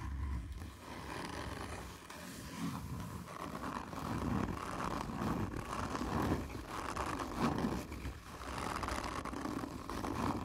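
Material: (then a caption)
Cardboard. A hand with long nails scratches hard and slowly on a hollow, black textured cardboard whisky tube held in close-up. The result is a continuous rough, low scraping rasp with resonant hollow bursts that swell and fade, with no clear breaks between strokes.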